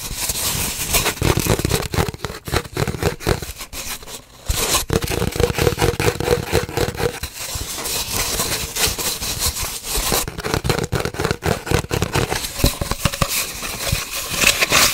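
Long nails scratch and tap rapidly on an empty, hollow cardboard paper towel roll held horizontally. The result is a dense, crackly scraping with quick hollow taps and bright papery hiss over a low thumpy body, briefly easing around the four-second mark before continuing.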